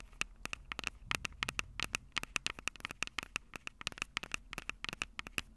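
Long purple acrylic nails tap rapidly on the two metal-grilled microphone capsules of a Tascam DR-05 handheld recorder with a plastic body. The result is a quick, uneven run of sharp, bright clicks with a tone near 2.6 kHz. Each click stops almost instantly, and there is very little low end.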